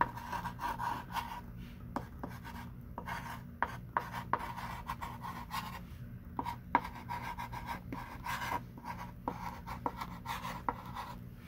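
A hand wearing a ring writes with a thick pink chalk stick on a small wooden-framed chalkboard lying flat on a table, while the other hand rests on the board. Soft scratchy, rubbing chalk strokes are broken by short, sharp taps, over a steady midrange tone near 950 Hz and a low background hum.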